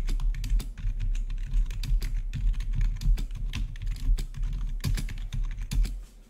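Fingertips of both hands type rapidly on a full-size black plastic membrane-style gaming keyboard with blue-to-red RGB backlit keys. The result is a dense, steady stream of short, soft keycap clicks and thuds with a heavy low-end body under bright tapping transients. The typing fades slightly at the very end.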